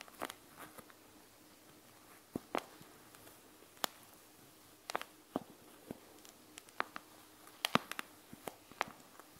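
Long nails tap the clear plastic over the gel beads of a panda gel bead eye mask. The result is a quiet, irregular series of sharp, bright clicks that stop almost instantly, with soft faint rustles between them.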